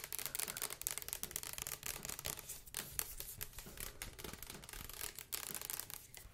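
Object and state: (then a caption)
Plastic liquid soap bottle. Long acrylic nails quickly tap and scratch a hand-held, large clear plastic Dr. Bronner's castile soap bottle with a blue label and white cap, hollow and partly full of yellow liquid. The result is a dense, continuous run of crisp, bright clicks and scratchy rasps with very short decay.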